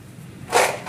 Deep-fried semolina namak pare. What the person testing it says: कितनी कुरकुरी आवाज आ रही है